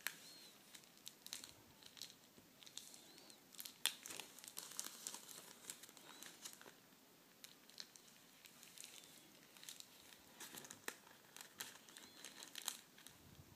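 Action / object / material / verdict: scrape / clear plastic packaging sleeve / plastic / none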